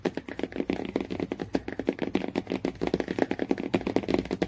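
Fingernails tap quickly on the laminated cardboard cover of a hardcover Jungle Book. The result is a rapid, uneven stream of short, dull taps with a mid-low body and very little ring, about 32 separate hits.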